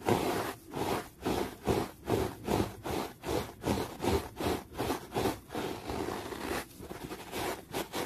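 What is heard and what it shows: A yellow brush or sponge tool held in the fingers is rubbed in fast strokes across a folded, grey-green textured terry cloth towel. The result is a steady run of rhythmic, breathy scrubbing swishes with a soft, fuzzy fabric texture, the strokes slightly quicker and lighter near the end.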